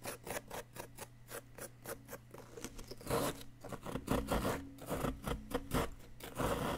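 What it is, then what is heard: Plaster excavation block being scraped. A flat wooden chisel scrapes a solid yellow-green plaster dig-kit excavation block, uncovering an item embedded inside. Quick, repeated rasping strokes run throughout over a faint low hum, and they grow louder and coarser in the second half as the chisel digs in.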